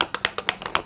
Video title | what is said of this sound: bikin2pagi2 - Tutorial Bikin Bros u Hampers Lebaran Lengkap dengan Cara Bikin Kemasan Aksesoris | ini ada bunyi kocak ya artinya barangnya itu bergerak